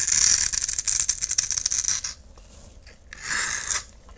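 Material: Soap.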